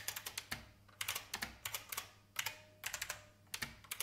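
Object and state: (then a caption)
Plastic mechanical keyboard. Fast fingertip typing on a vintage beige IBM mechanical keyboard with plastic keys produces bursts of sharp, bright clacks. Quick runs of keystrokes are separated by brief pauses, and each click dies away almost instantly with very little low end.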